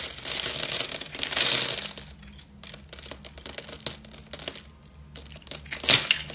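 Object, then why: Bar of soap. A solid rectangular white bar of soap, held in one hand, is scored and carved with a metal box-cutter blade, shaving off small cubes. Bright, crunchy scraping and crackling fills the first two seconds, then fades to quieter, sparse crackles before one more loud crunch near the end.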